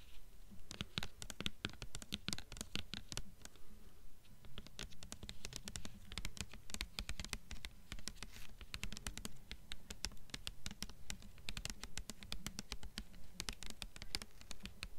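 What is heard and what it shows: Long nails tap and scratch the front cover of a blue hardcover book with a glossy paper dust jacket, held close. Rapid, uneven taps mix with scratchy strokes in a steady patter. Each tap has a low thump and a bright click that dies away quickly.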